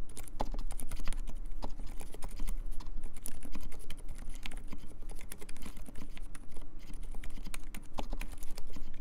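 Fingertips type at a moderate pace on a compact mechanical keyboard with silent Dolphin switches and cream plastic keycaps. The result is a steady, dense run of soft, muted clacks with short, dry decays over a constant low hum.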